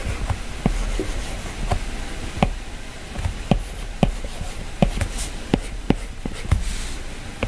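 A plastic-tipped stylus strokes across the glass screen of an iPad while drawing, then taps on the color picker. About ten short, dry clicks stand out over a soft, low rustle of scratchy strokes, and each tap dies away almost at once.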